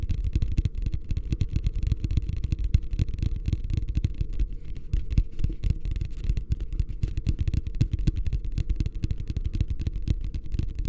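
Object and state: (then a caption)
Hollow empty plastic wastebasket. Fingertips tap rapidly on the base and sides of a medium beige plastic wastebasket, hollow and empty, held upside down in both hands. A steady, dense patter of dull, hollow low thuds continues throughout, each dying out almost at once, with nearly all the sound deep and boomy and no bright ring.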